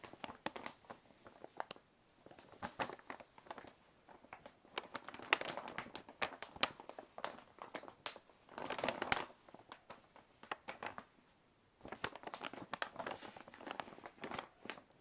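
A large, hollow brown kraft paper Maisons du Monde shopping bag is tapped, scratched and rubbed with fingertips and nails. The result is a quiet, dense stream of dry, bright crinkles and sharp ticks with almost no low end, in bursts separated by brief pauses.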